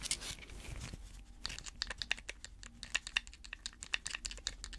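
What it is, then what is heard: Plastic pill bottle tapped and scratched with nails. A small hollow white plastic pill bottle with a screw cap, held in latex-gloved hands, is scratched and tapped with long red fake nails. A rough, bright scraping opens the clip, then gives way to a quick, uneven run of sharp, dry clicks that stop dead with no ring.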